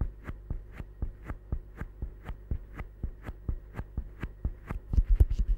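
Fingertips squeeze and scratch a small solid green rubber or silicone stress ball held close up, making a quick, steady run of soft, muffled low thumps alternating with brief, brighter scratchy ticks over a faint low hum. Toward the end the rubbing grows denser and louder, with the ticks crowding together.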